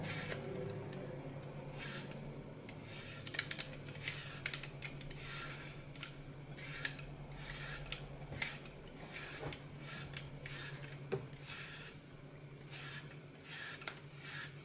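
A red-handled knife repeatedly slices the edge of a hand-sized, solid green floral foam brick with a blue glitter picture on top, held in one hand over a glass bowl. Each cut makes a crisp, bright scraping crunch in quick bursts over a steady low hum.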